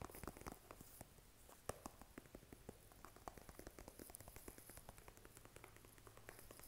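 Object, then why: Plastic squeeze tube. A blue squeezable plastic lotion tube with a cap, apparently filled, is tapped and scratched with fingernails. Quick, soft, dry taps with short clicky attacks come in a steady, uneven patter, mixed with faint scratching. A low, steady hum sits underneath throughout.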